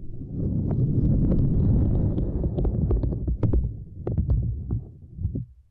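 Long nails and fingertips tap and rub over a small, flat, purple silicone grid mat resting across a microphone. The result is a deep, muffled, thumping rumble with irregular sharp, bright nail clicks scattered throughout. It fades out at the end.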